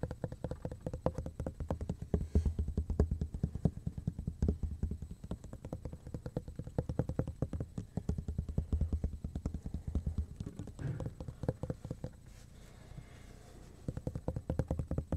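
Fingertips and nails scratch and tap the textured surface of a flat, solid black plastic cutting board held close in both hands. A dense stream of short, dull, low-pitched taps runs almost continuously with no ring. Around the twelve-second mark it eases into a softer, quieter scratch before the tapping resumes.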